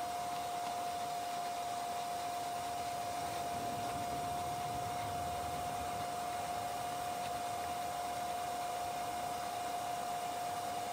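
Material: Nothing is struck.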